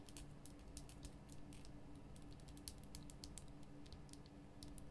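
Long nails tap fast on the top and sides of a large, lit pink Himalayan rock-salt lamp, a solid rough crystal block. The quick, bright, clicky taps run in a steady stream with almost no ring, over a constant low hum.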